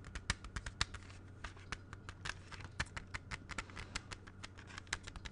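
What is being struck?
Plastic CD jewel case.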